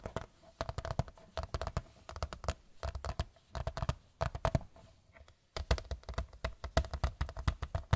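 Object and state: Large picture frame.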